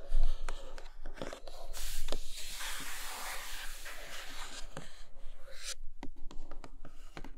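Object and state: Cardboard box, scratched and tapped.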